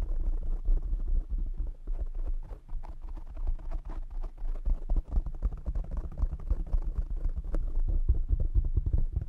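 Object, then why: Foam microphone windscreen. Fingertips of both hands tap rapidly on the black foam windscreen of a desk microphone, producing a dense, continuous stream of muffled, boomy thumps. Nearly all the sound sits in the deep low end, and each tap dies away almost instantly.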